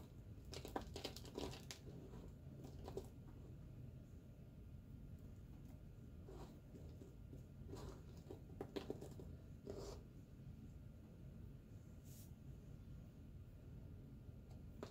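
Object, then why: Bar of soap cut with a knife blade. A solid pale green Coast bar soap, held in the hand, is cut with a pocket knife. Quiet, soft scraping and shaving strokes come in short crisp bursts with bright edges, spread irregularly over a low, steady background rumble.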